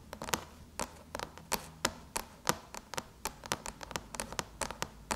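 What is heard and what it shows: Long chrome-painted nails tap and scratch on the silver aluminum lid of a MacBook near the logo. Quick, dry, bright clicks land in an uneven rhythm with faint scraping between them, each dying away almost instantly.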